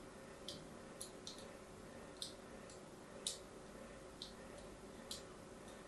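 A palm-sized solid bar of orange-and-white striped soap, held in a hand with long manicured nails, is scratched and cut with a thin metal needle or blade in repeated scoring strokes. Seven short, crisp, bright scraping ticks stand out, each fading quickly over a quiet, steady background hiss.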